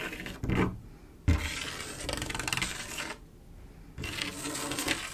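Long acrylic nail tips tap and scratch across a large, solid, flat glass mosaic tile picture made of silver mirror-like tiles. Sharp clicking taps give way to bright, gritty scraping bursts, separated by a brief quieter pause before the scratching resumes.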